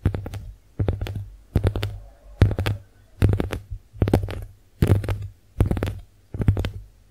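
Long nails tap and scratch a pink heart-shaped konjac face sponge held up close. Nine short bursts of quick, soft, muffled taps come at a steady pace, each a dull, low thud with brief scratchy clicks and almost no ring. A faint low hum runs underneath throughout.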